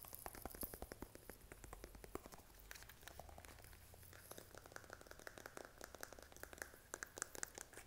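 A blue squeezable plastic lotion tube with a cap, apparently filled, is tapped and scratched with fingernails. The result is a quiet, continuous run of rapid, dry clicks and crinkly scratching that never stops long enough to count separate taps.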